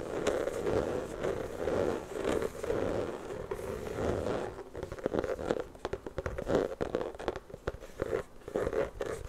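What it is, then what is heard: Rubber basketball scratched. A full-size, hollow, inflated rubber basketball is held against the microphone and scratched with long fingernails. Dense, raspy scratching fills the first half in a steady stream with a hollow mid-range tone. It then breaks into many short, separate scrapes and crackles.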